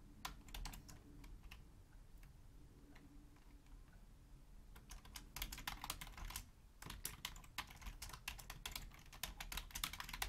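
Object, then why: Plastic computer keyboard. Long nails type on a black Logitech full-size plastic keyboard resting on a wooden desk, with the hands staying on the keys. Quick, sharp, bright clicks come in irregular bursts, sparser at first and denser later, with a brief pause near the seven-second mark. A soft low rumble sits underneath the quiet taps.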